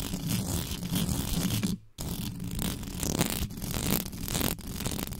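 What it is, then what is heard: Metal microphone grille being scratched. Long pink nails scratch and tap the top of a black condenser microphone's hollow metal mesh grille with both hands. The result is a dense, fast, rustling scrape with a heavy low rumble, broken by a brief near-silent gap just before two seconds.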